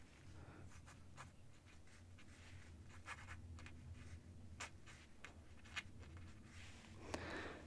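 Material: Paper.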